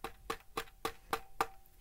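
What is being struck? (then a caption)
Handheld game console, plastic shell. Six evenly spaced taps on the plastic shell of a handheld retro console that resembles a Switch and takes a 103-game cartridge. Each tap is a short, dry knock with a faint midrange ring that dies away almost at once. The casing sounds very plastic.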